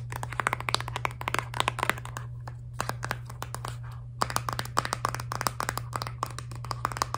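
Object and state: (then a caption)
Plastic toothpaste tube. A filled Crest Scope toothpaste tube of soft laminated plastic, held horizontally, is tapped and scratched with long nails. Quick, dry clicking taps come in dense bursts with a pause near the middle, mixed with crinkly scratching over a steady low hum.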